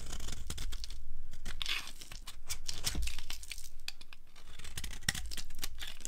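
A solid pale green-cream dry soap bar, held in the hand, is scraped with a flat blade so that crumbly flakes fall away. A run of quick, dry, crackly scraping and tearing strokes is heard, with bright gritty crumbling and a low rumble underneath.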